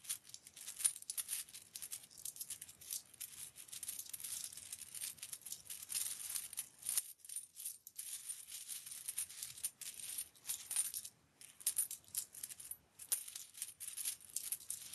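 Fingertips of both hands pick up, sort and slide a spread-out pile of mixed loose US coins, mostly silver-colored with some copper pennies, across a white cloth. The result is a steady, quiet stream of many bright, short metallic clinks between coins, with a brief lull about halfway through before the clinking resumes.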